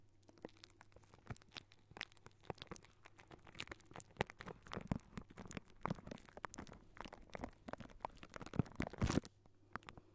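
Curled fingertips and short nails of both hands scratch and tap on a hollow wire-mesh metal microphone grille. The result is a dense, crackly run of quick scratches and sharp taps over a steady low hum, growing busier and louder toward the end before briefly falling quiet.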